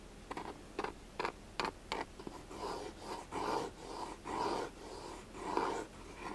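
A black, hollow, elongated hard-shell glasses case is tapped and scratched along its top and edges with the fingertips and nails. Six quick, sharp taps come first, then longer bursts of rasping scratches, each with a hollow tone centered near 1 kHz.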